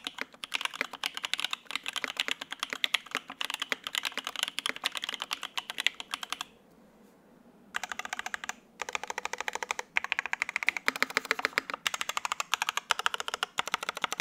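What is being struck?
Mechanical keyboard, ABS keycaps on polycarbonate plate.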